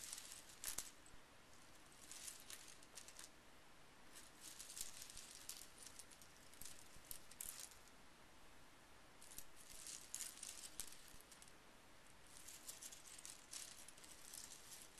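Small painted metal scrapbooking brads with star and flower heads lie scattered on a bamboo mat while fingertips sweep and stir them. They give off quiet, bright jingling and clinking in repeated bursts over a soft, steady hiss.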